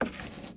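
Small sample bath bombs made of baking soda and citric acid are touched together, giving a single short, hard clink with a ceramic-like tone and a quick fading rattle. The sound shows the bath bombs are hard and perfectly dry.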